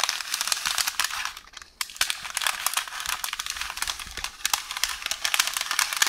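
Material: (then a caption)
Paper. Long orange nails scratch along and press on a roll of beige baking paper resting on a counter, producing a continuous bright, crinkly rustle with many sharp crackles. The sound is dense and high-pitched, with almost no low end, and briefly drops to near quiet around 1.5–1.8 seconds before the rustling resumes.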